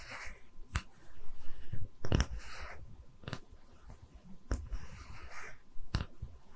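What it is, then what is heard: Wooden tree-slice stand. A small, round, solid wooden tree-slice stand is held in both hands while long red nails tap and scratch its face. About six sharp, dry taps ring out clearly, separated by soft, low scratching and rubbing across the wood.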